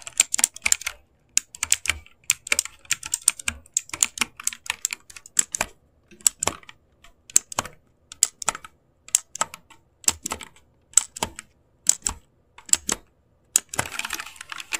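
Both hands type with their fingertips across the number and letter rows of an RGB-backlit mechanical keyboard with plastic keycaps. Bright, crisp key clacks come in quick bursts separated by short pauses, each tap dying away almost instantly with very little low end. The typing ends in a denser, faster flurry.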